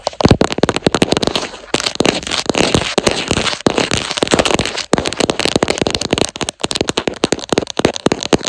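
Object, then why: Silicone phone case with raised texture. Long acrylic nails tap and scratch quickly across the raised leopard-print texture on the back of a smartphone in a black soft silicone/TPU case mounted on a tripod. The result is a dense, fast run of sharp clicking taps and crackly scraping, with brief pauses between bursts.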